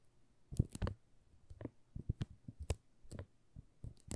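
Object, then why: Soap bar in thin plastic film. Fingertips and nails scratch and tap the surface of a solid pink "Rose" soap bar wrapped in a thin plastic film and held in the hands. The result is a quiet, irregular series of short, dry clicks and light crinkles, each with a soft low thump and a brief bright tick that stops almost instantly.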